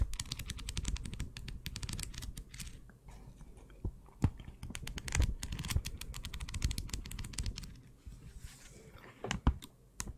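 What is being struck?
Small paper notebook with cardboard cover.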